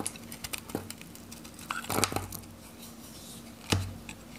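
A metal knife shaves and cuts flakes and slices from a solid, dry, varnished green Godrej No.1 soap bar held in the hand, breaking it into pieces. Soft dry scraping and crumbly crunches are broken by short, bright clicking cuts, with a sharp crack near the end as a piece breaks away.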